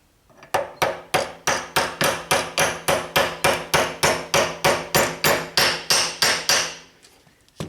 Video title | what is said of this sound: Burds Garage Ep 13 - 'Operation' Mustang Fastback Pt 1 - Surgery Prep! | that sound you know it's flush